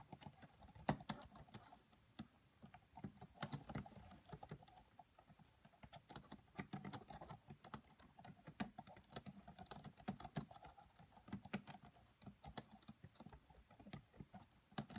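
Fast typing with long nails and fingertips tapping the black plastic keys of a red laptop keyboard. The result is a steady stream of quiet, crisp, bright clicks that stop instantly, with a soft low thump under each press and no other sound.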